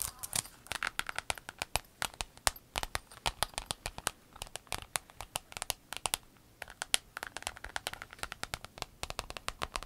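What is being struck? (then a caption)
Vinyl pencil case. Long nails tap and scratch a flat, rainbow-colored clear vinyl pencil case lying on a table. The result is a dense run of quick, sharp, bright clicks and crinkly scratches with almost no ring, sometimes bunched into fast flurries.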